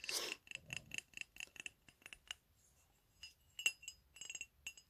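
Fingernails tap an empty, hollow, medium white ceramic mug with "COFFEE" lettering, set upside down with its base showing. About eighteen quick, bright clinks, with a pitch near 2.7 kHz, come in uneven bursts. Each dies away almost at once, with short quiet gaps between groups.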